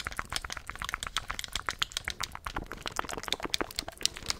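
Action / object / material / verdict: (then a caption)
tap / plastic game controller / plastic / none. Fingertips click the buttons and tap the shell of a handheld black plastic gamepad. About thirty quick, dry, bright clicks and taps come in a steady, uneven stream with almost no ring after each.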